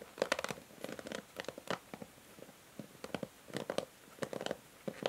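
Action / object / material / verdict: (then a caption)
scrape / plastic hair brush with pins and cushion pad / plastic / none. Long nails scratch and strum over the plastic ball-tipped pins and along the white cushion pad of a pink plastic paddle hair brush held by its handle. Clusters of quick, dry, bright ticking and scratchy rasps come in bursts, with a faint midrange tone near 560 Hz and almost no low end. Each burst stops sharply with no ring, leaving brief quiet gaps between strums.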